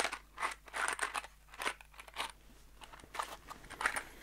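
A small kraft cardboard box holding screws is turned in both hands and shaken, giving a series of short, dry, crunchy rattling bursts with a bright, papery edge. The bursts come in quick irregular clusters with brief quiet gaps and almost no low end or ring.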